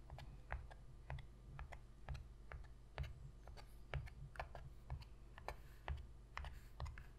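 Long pink fingernail tips tap rapidly on the inner bottom of a shallow, empty white cardboard box lid. The taps come as quiet, irregular, hollow low thumps, each with a short clicky tick on top. Every tap dies away almost at once.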